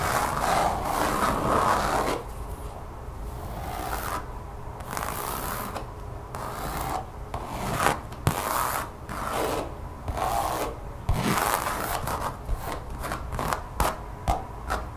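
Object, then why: Textured rubber or vinyl mat. Long fingernails on both hands scratch and tap a thin, solid, brown textured mat of rubber or vinyl lying on a table. A dense, bristly scratching opens the clip, then gives way to quieter rubbing broken by quick, irregular, sharp taps with short, dry decay.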